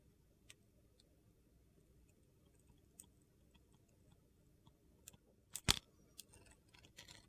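A solid rectangular bar of glittery brown soap, held in the hand, has its corners and edges carved with a metal utility knife, and crumbly white flakes come off. Faint, crisp scraping ticks sound over a quiet low background, building to a sharper, louder crunch of the blade cutting through the soap near the end.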